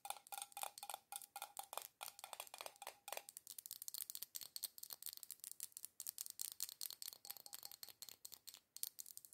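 Long acrylic nails tap rapidly on a small glass jar candle filled with solid red wax and on its black metal screw lid. The sound is a fast stream of short, bright clicks with almost no low end. In the first three seconds a faint ringing tone near 800 Hz hangs under the taps, and after that the taps turn dry and crisp.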